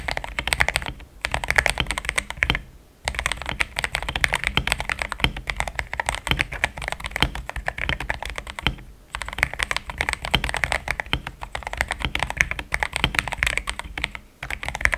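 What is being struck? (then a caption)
Mechanical keyboard with thick plastic keycaps. Fast fingertip typing on a compact pink-cased mechanical keyboard with cream, thick XDA plastic keycaps that sound solid. Dense, bright, short clacks run in quick bursts with a low thock under each keystroke. Brief pauses near 1, 3, 9 and 14 seconds break up the flow.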